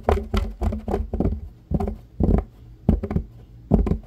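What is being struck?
Fabric-covered baseball cap brim.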